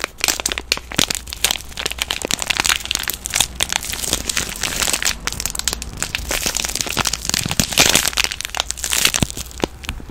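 A palm-sized green soap bar, solid inside and wrapped in thin plastic film, is squeezed and crinkled with fingers and long nails. Dense, bright crinkling and sharp crackles run continuously for about ten seconds, each snap dying away almost instantly, over a faint steady low hum.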